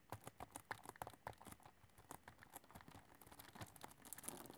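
Long nails tap and scratch across a full, flat cardboard chocolate box wrapped in cellophane as it is turned to show its sides. The result is a quiet, rapid series of dry, crisp clicks with crinkly scratching between them, some taps carrying a faint mid-pitched knock and bright plastic rustle.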